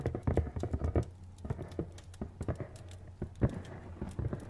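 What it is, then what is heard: Cardboard product box. Fingernails tap rapidly on a hollow, medium-sized printed cardboard retail box as it is rotated. The result is a quick, irregular patter of dull, low, hollow knocks that die away almost instantly, with some clusters of taps louder than others.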